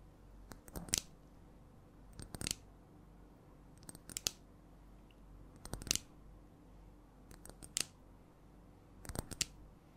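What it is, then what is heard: Glass perfume bottle tapped with nails. A clear glass perfume bottle with a metal cap, held in both hands, is slowly tapped with long nails. Six short bursts of a few quick taps each are heard, spaced apart. The clicks are sharp and bright, die away almost instantly, and sit over a faint steady hiss.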